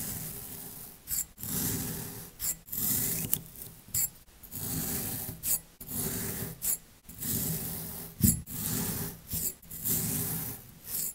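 A metal blade tool with a yellow handle is pushed down into a short clear glass tumbler packed full of multicolored kinetic sand, cutting and scraping through it. A series of soft, gritty rasping strokes follows, each a low, dense crunch with a bright, hissy grain on top, separated by brief pauses.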